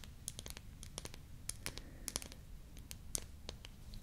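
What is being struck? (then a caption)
Small painted wooden toy lip balm. A small painted wooden toy lip balm with a pink cap, red stick and natural wood base, held in both hands, has its cap opened and closed while long nails click and tap the solid wood. About twenty short, bright, dry clicks come quickly and unevenly over a faint low rumble, each dying away almost at once.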